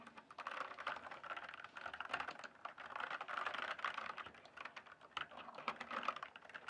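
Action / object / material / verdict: tap / plastic mechanical keyboard / plastic / none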